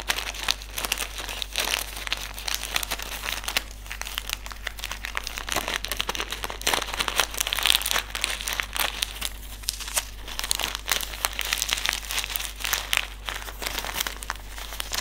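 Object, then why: Small desiccant sachet with silica beads. A small white silica gel desiccant sachet filled with silica beads is crumpled, squeezed and rubbed between fingers. Dense, bright crinkling and crackling runs continuously, with sharp rustling bursts and a steady low hum underneath.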